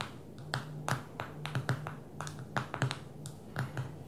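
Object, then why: Smartphone with glass touchscreen. Long fingernails tap on the glass screen of a small black smartphone lying flat on a table. The result is an irregular run of short, sharp, dry clicks with bright edges that die away almost instantly, over a steady low hum.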